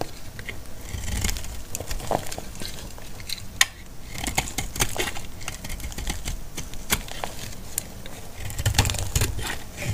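A solid, hand-sized bar of dry pink antibacterial soap is held in the hand and scraped with a metal utility blade, sending dry flakes onto a pile of soap shavings. A steady run of crisp, brittle scraping strokes and sharp, bright ticks sounds over a low, soft rumble.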